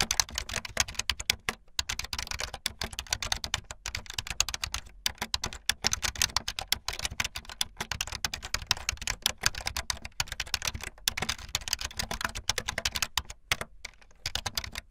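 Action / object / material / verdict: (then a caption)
tap / plastic computer keyboard keys / plastic / none. Fingertips with long light-blue nails type fast on a full-size plastic keyboard with white, blue and yellow plastic keycaps and a blue backlit frame. A rapid, continuous stream of bright, crisp plastic clacks follows, each key strike short and dry with no ring, pausing only briefly between bursts.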